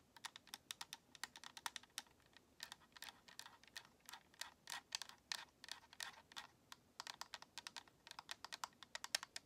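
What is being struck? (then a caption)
Plastic game controller shell. Long nails tap and scratch across the shell of a white, hollow plastic Xbox controller, held with its front face toward the camera. About fifty quick, quiet, bright clicks come in an uneven, rapid run, each dying away almost instantly, with no low end beneath them.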